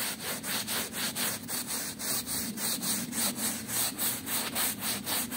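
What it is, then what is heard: Woven rug being scrubbed. A yellow-gloved hand scrubs a small, patterned woven rug that is wet and soapy with a small hand brush. The strokes come in a steady back-and-forth rhythm of about four per second, each a bright, wet, scratchy swish with a faint low undertone.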